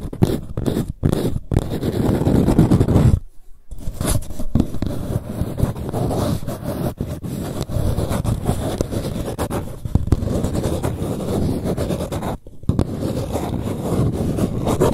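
Long nails scratch the outer wall of an empty green paper cup turned on its side mid-stretch. The result is a dense, continuous rasping scratch with a heavy low, papery body, broken by brief pauses near three and a half seconds and again around twelve and a half seconds.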